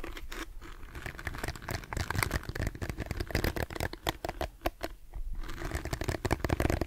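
A handheld lilac plastic detangling hairbrush with a hollow-looking smooth back and dense plastic bristles is held in one hand while the other hand's fingertips and nails scratch across the bristles and the back. The result is a rapid, dense stream of crisp scratching and crackling clicks, with bright sharp ticks over a low, close rumble. The activity briefly thins to near quiet before resuming.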